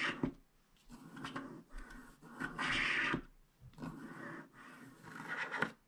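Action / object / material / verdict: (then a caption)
scrape / coated paper scratch card scraped with a wooden stylus / coated paper / none. A wooden stylus scrapes across a flat, black-coated paper scratch card, widening the teal area beneath the coating. Dry, bright scratching comes in several bursts of rasping strokes with brief quiet gaps between them.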